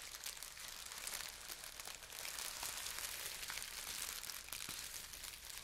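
Translucent green plastic air-pillow packaging, a thin hollow air-filled film, is held up and crinkled and rubbed by fingers with long nails. The result is a steady, bright crackling and crinkling with many small sharp ticks, mostly high in tone with almost no low end.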